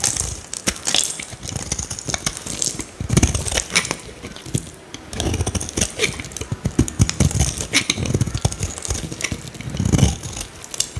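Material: Soap.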